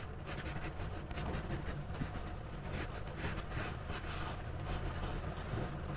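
A gloved hand draws with a black graphite pencil on the page of a spiral-bound paper sketchbook lying flat on a table. The pencil tip scratches across the paper in repeated strokes, giving steady bright, hissy scratching over a continuous low rumble for the whole clip.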